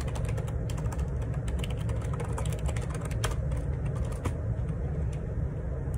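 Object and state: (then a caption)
Plastic ergonomic keyboard. Fingertips type on the plastic keycaps of a black plastic Perixx Periboard 612 wireless Bluetooth dual ergonomic split keyboard resting on a grey table. A steady run of soft key taps clicks over a constant low rumble that carries most of the energy, with a few sharper, brighter taps standing out.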